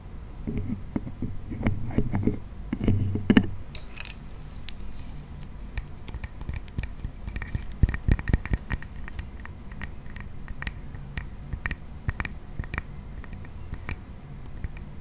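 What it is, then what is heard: Wooden acrobat toy clicking. A red-painted wooden acrobat toy, a wooden frame with a string-hung wooden figure, has its sticks squeezed so the wooden parts click and rattle. The first few seconds bring denser, fuller clattering with low handling noise. After that, sharp, dry, bright clicks sound at irregular intervals, each dying out almost instantly.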